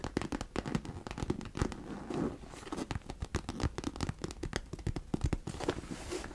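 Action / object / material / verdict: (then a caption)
scrape / fabric cosmetic bag / fabric / none. Long nails scratch and rub the fabric sides of a hollow, medium pink fabric vanity case held in both hands. The result is a quiet, dense stream of crinkly, rapid scratching bursts with a soft, low-heavy texture and very little ring.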